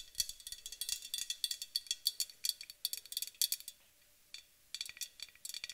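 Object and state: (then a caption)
Aluminum aerosol can tapped with nails. Long acrylic nails tap rapidly along the body and near the top of a white-painted aluminum aerosol spray can. The taps are quick, bright, dry clicks with a high metallic tinge and almost no low end. They come in busy bursts, pause for about a second, then resume.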